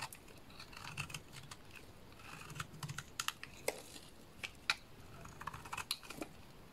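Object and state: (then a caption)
Bar soap being scraped. A small blade scrapes and shaves flakes and curls from a solid lilac bar soap. Quiet, dry scraping runs throughout, with many short, crisp, bright clicks and ticks scattered across it, much like soft tapping on keys.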